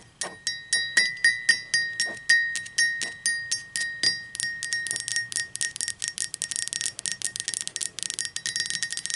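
Long pointed green acrylic nails tap and scratch the sides of an upright, hollow, apparently empty blue speckled glazed ceramic coffee mug. Spaced, bright clinking taps ring at a steady pitch near 1.8 kHz and decay quickly. They then speed up into a denser run of quicker taps and scratchy clicks.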